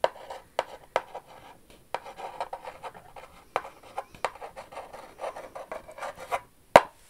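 Long rhinestone-covered acrylic nails tap and scratch across the flat front face of a small, hollow purple printed cardboard box reading "It's Expensive To Be Me," held up in the air. Sharp, dry clicks stand out against softer, papery scratching and light rubbing in between. Each tap ends almost instantly, with a bright midrange tone and no low thump.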